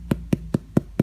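Five quick, evenly spaced taps on the bottom of a fresh homemade bread loaf just out of the oven give short, dull, low thuds with no ring. The hollow sound means the bread is done baking.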